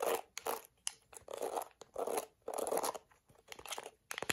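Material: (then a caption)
Plastic. A plastic detangling hairbrush held in hand, with long acrylic nails rapidly scratching across its dense black plastic bristles. The result is a series of dry, crunchy, scraping bursts, each lasting about a quarter to half a second with short pauses between them. The sound is mostly midrange with a brighter, crackly edge.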